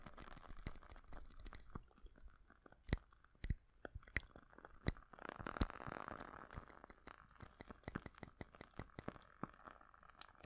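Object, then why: Glass candle jar. A glass jar holding a lit candle, its glass warm but not too hot, is clinked and tapped in a quick, uneven series of sharp, bright, high-pitched ticks that die away almost instantly. A soft, grainy rustling swells briefly under the clinks midway through, and the taps carry on to the end.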